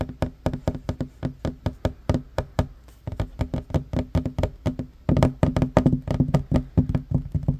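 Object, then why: Wooden table top. Fingertips and short nails of both hands tap quickly on a flat, solid wooden table top, giving 38 short, dry, low knocks with almost no ring. The taps come in a steady rapid rhythm and grow louder and fuller in the last few seconds.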